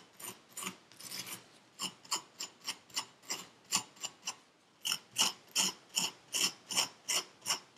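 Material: Sand.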